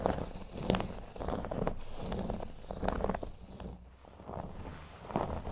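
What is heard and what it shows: Fingernails scratch the surface of a flat, thin, solid cork board resting on a table. The result is a run of dry, raspy scratching strokes with soft crackly texture, mostly low and muffled, rising and fading in uneven bursts with a brief quieter lull near the end.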